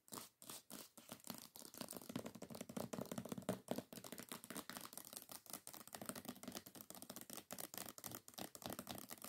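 Long nails rapidly tap and scratch the glossy paper dust jacket of a hardcover copy of "Holly" lying flat and solid. The result is a dense stream of dry, crisp clicks and rough scratching with a bright papery hiss and a slight woody body around the low mids.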